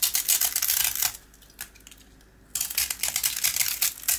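A small, round, dry rusk with a green coating is held in the hand and scraped with a box cutter blade, flaking off the coating as the yellow rusk crumbles. Quick, bright, scratchy scrapes rasp in a steady run, fall nearly silent for over a second apart from one faint tick, then pick up again just as briskly.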